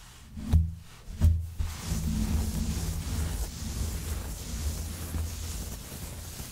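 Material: Nothing is struck.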